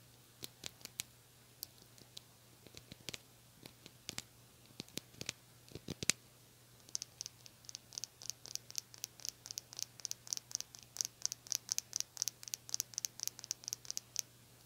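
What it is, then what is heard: Small plastic hair brush. Long nails scratch the bristles and tap the plastic back of a small white and teal plastic hair brush, making many sharp, dry clicks and scrapes that are bright and cut off almost instantly. After the first few seconds, the taps come faster and carry a high, thin ring over a faint, steady low hum.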